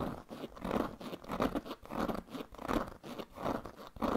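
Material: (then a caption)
Leather. Fingernails scratch the pebbled leather surface of a large black leather handbag with a metal buckle, held against the body. The result is a dry, crunchy rasping that rises and falls in uneven strokes, concentrated in the low-mid range with little high-frequency hiss.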